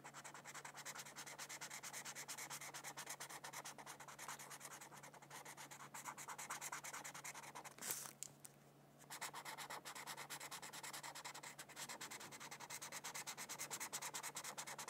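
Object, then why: Felt-tip marker on a thin paper sheet. A felt-tip marker rubs steadily back and forth across a thin white paper mandala coloring sheet lying on a book. The result is a dense, bright, scratchy stream of quick strokes, with a brief quieter pause a little past the midpoint before the coloring continues.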